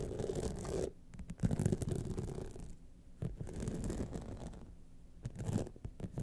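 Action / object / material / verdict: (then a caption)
scrape / rhinestone-studded clutch wallet / rhinestone / none. Long nails scratch down the rhinestone face of a gold rhinestone-studded clutch wallet, starting from the top. Quiet, dense scratching and rasping comes in repeated passes with brief pauses between them. The sound is mostly low and muffled, with little bright edge.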